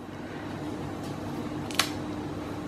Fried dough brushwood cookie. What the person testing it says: break the brushwood so that you can see how crispy it is